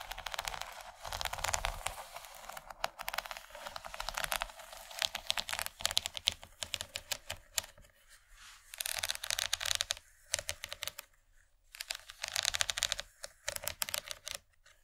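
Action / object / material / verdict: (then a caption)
tap / plastic tray / plastic / none. Long nails tap rapidly across the surface and rim of a large, empty yellow plastic tray. They make dense bursts of sharp, bright clicks with almost no low end, broken by short pauses. Each tap is dry and dies away at once.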